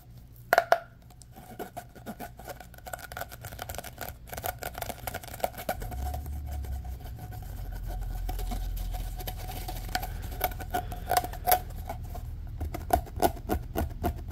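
A fingertip scratches and pushes the ridges of a hollow, orange corrugated plastic pop tube that is partly compressed and bent. It makes a fast, dense run of scratchy clicks and ridged rasps with a faint hollow ring around 680 Hz, plus a few sharper snaps near the start and toward the end. A low rumble swells in the middle of the clip and then eases.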